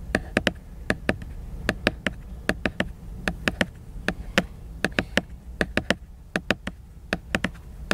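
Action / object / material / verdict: tap / glossy laminated hardcover book cover / laminated board / none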